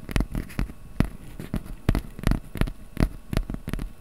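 A small, flat piece of brown corrugated cardboard is held in both hands above a microphone while fingertips tap and scratch its surface. The result is an irregular series of short, dry taps with dull low thumps and a faint papery scratch between them, each tap dying away almost at once.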